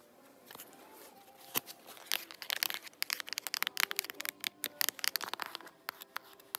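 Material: Cardboard.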